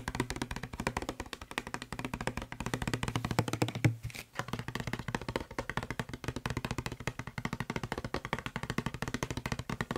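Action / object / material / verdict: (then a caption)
tap / hollow plastic spray bottle / plastic / none. Fingertips and short nails tap fast on the side and label of a hollow blue plastic Febreze spray bottle. The result is a dense, steady stream of short, dry clicks over a low hollow thump, each tap dying away almost at once. The tapping pauses briefly around the four-second mark.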